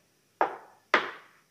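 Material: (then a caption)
Steel. Two knocks on the green high-strength steel chassis frame of a Smart Fortwo, the only steel part of a body otherwise made of plastic. Each knock gives a short, dull, mid-pitched thud that fades within a fraction of a second.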